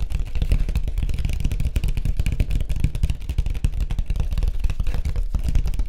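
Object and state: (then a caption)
Surfboard. Fingertips tap rapidly on a white surfboard. The taps blur into a dense, continuous drumming of deep, hollow thuds that stop short with almost no ring, and a faint brighter clatter sits above them.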